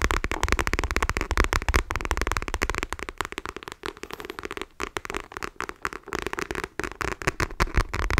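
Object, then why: Faux leather wallet. A dark patterned faux leather wallet, held in both hands, is tapped rapidly with long nails. The result is a dense, irregular stream of short, dry taps with a deep thumpy body and crisp clicky edges. The tapping thins into brief bursts and pauses toward the end.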